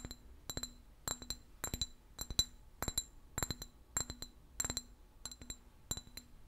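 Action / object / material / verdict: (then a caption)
tap / empty glass bottle / glass / none. A clear, empty glass bottle of about 20 cm with a yellow apple-juice label is held in one hand and tapped with the fingernails of the other. It gives quick clusters of two or three bright, clinking taps at a steady pace, with a high glassy ring and a faint lower tone. Each tap dies away almost instantly.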